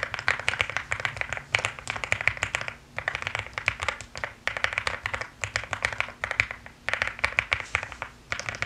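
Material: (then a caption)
Plastic. Rapid typing with fingertips and long nails on a mechanical keyboard with pastel plastic keycaps produces dense, bright clacky keystrokes with very short decay. The typing comes in fast bursts separated by brief pauses.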